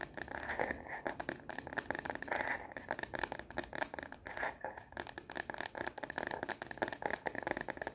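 Long nails tap rapidly on the back of a smartphone in a translucent plastic case held upright. The result is a fast, dense stream of dry, clicky plastic taps with some scratchy texture, sitting mostly in the mids with very little low end. Each tap dies away almost instantly.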